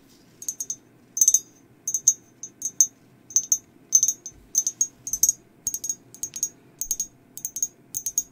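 Long nails tap and scratch a hand-sized, hollow, glazed ceramic mug with a black and white skeleton design and a handle, empty and turned over to show its base. The result is quick bursts of sharp, bright clicks in irregular clusters, each with a brief high ring that dies away almost at once, over a faint low background hum.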